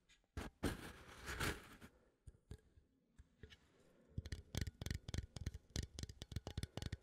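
A small cylindrical metal coffee tin is held upright in one hand while the fingertips and nails of the other hand scratch and tap it. Loud, bright scratching and rubbing comes first, then a quieter stretch. It ends in a quick run of sharp, dull-ringing taps with low thumps underneath.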